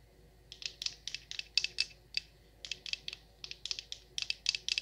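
Long nails tap and scratch a large solid wax pillar candle, making about twenty quick, dry, bright clicks in uneven bursts. Each tick stops almost instantly with no ring, over a faint, quiet background.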